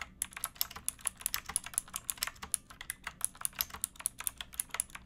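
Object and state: Plastic mechanical keyboard being typed on.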